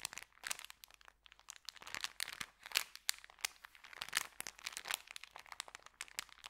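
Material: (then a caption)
Paper. Fingers flex and crinkle a small folded white paper sandwich bag. The result is a quiet, dense stream of sharp, bright crackles and crunches with almost no low end. Each crackle stops instantly, with short pauses between bursts.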